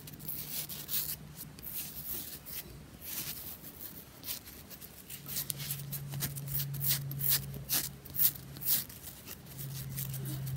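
A round, tennis-ball-sized pressed bath bomb made of two pressed halves rests in a palm while fingernails rapidly scratch and tap its surface. The result is a quick, uneven run of dry, gritty scrapes and sharp clicks with bright hiss, over a low steady hum.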